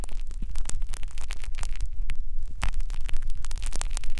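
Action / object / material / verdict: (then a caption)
scrape / silicone microphone ear scraped with fine metal wires / silicone / none. Two fine metal wires on a blue plastic holder scratch and rub inside the ear canal opening of a white silicone binaural microphone ear. The result is a dense, continuous stream of close, crackly scraping and rustling noise with many quick bursts over a steady low rumble.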